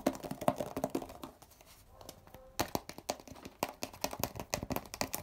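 Fingertips tap and scratch the blue plastic cap and label area of a hollow grey plastic Poliflor furniture polish bottle. Quick, dry, hollow-sounding taps come in rapid runs with a mid-range resonance, broken by a quieter stretch of softer scratching before the tapping resumes.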